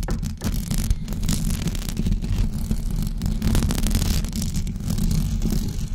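Long blue acrylic nails on both hands scratch a white knitted fabric cover stretched over a rounded microphone head. The result is a dense, continuous, muffled scratching and rustling that is heavy in low, rumbly tones, with only faint bright texture on top.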